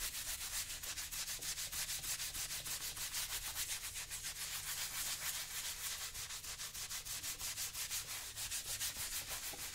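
A brown leather boot on the left foot is rubbed repeatedly with a yellow sponge while a hand steadies it. The result is a continuous, quick, bright scuffing hiss that pulses about three times a second, with a faint low hum underneath.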